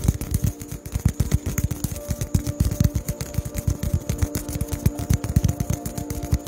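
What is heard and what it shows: A small white polystyrene foam ball, cupped in both hands, is tapped rapidly with the fingertips close to the microphone. The taps are soft, dull, low thuds that die out almost instantly, falling in a quick, uneven rhythm with a faint steady hum underneath.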